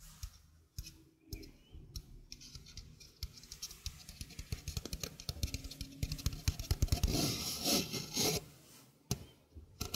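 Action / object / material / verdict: scrape / stainless steel mesh sink strainer / stainless steel / none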